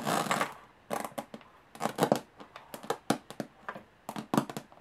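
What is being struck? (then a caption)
Small aluminum case with textured metal lid. Long fingernails tap on the textured metal lid of a small, hollow aluminum briefcase. A short scratchy burst at the start gives way to quick, irregular, bright clicking taps with a light hollow tone, each dying away almost instantly.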